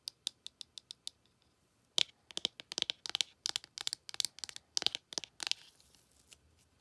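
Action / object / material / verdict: tap / cardboard eyeshadow palette / cardboard / none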